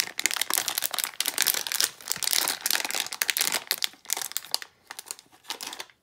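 A small plastic foil blind bag with something inside is crinkled and squeezed with both hands and long nails, producing dense, bright crackling and rustling with almost no low end. The crinkles come in quick bursts that thin out into softer, sparser crackles toward the end.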